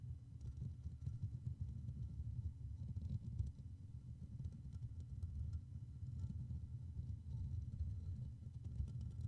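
Fingertips of both hands continuously scratch and tap around the hollow black metal mesh grille of a Blue Yeti microphone. The sound is a dense, low, muffled rumble of thumps and brushing, with faint scattered clicks above it and no gaps between touches.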